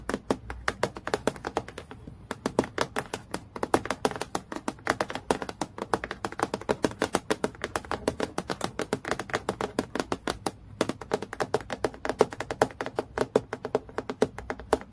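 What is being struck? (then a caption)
Clear acrylic plastic clipboard. Fast fingernail tapping near the top edge of a clear acrylic plastic clipboard lying flat. The taps come in rapid, dense bursts of short, dry clicks with brief pauses, each tap dying away almost instantly.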